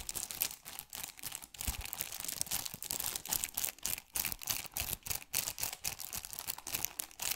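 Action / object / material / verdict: scrape / plastic game case in cellophane shrink wrap / plastic film / none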